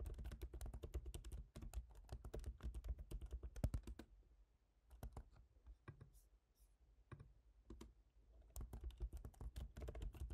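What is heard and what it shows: Fingertips type on the black plastic keys of a silver MacBook Pro's aluminium laptop keyboard, producing quick, dry tapping clicks. The taps come in a dense, irregular flurry for the first four seconds, thin out to scattered keystrokes through the middle, then pick up into rapid typing again near the end.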